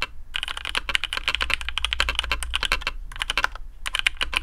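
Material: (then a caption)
Plastic. Fingertips of both hands type quickly on a black custom AARU mechanical keyboard with TTC Speed Silver switches, PBT plastic keycaps and a carbon fibre plate in a hollow case. The result is a dense run of short, bright clacks that stop dead with almost no ring, with brief pauses near the three-second and four-second marks. A faint steady low hum sits underneath throughout.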